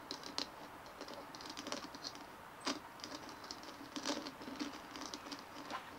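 Long manicured fingernails of both hands scratch and tap a large, palm-sized white plastic ball with a dimpled surface as it rests on a wooden table. The result is a quiet, steady patter of dry scratching with a few sharper, brighter taps that stand out and die away almost instantly.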